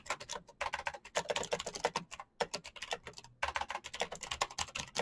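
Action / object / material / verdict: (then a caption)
tap / plastic mechanical keyboard / plastic / none. Fingertips type fast on a full-size black plastic Razer mechanical keyboard with clicky green switches and RGB backlight. Rapid, bright, crisp clicks come in bursts, with short pauses around the 0.5, 2.3 and 3.4 second marks.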